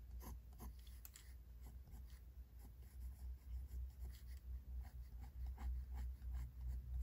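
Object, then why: Pencil graphite on a paper sketchbook page. A pink mechanical pencil tip is drawn across a large white paper page in a spiral-bound sketchbook lying flat on a wooden desk, in sketching strokes while the other hand rests still on the page. Quiet, dry scratching strokes repeat in quick, uneven succession over a steady low hum, growing slightly louder toward the end.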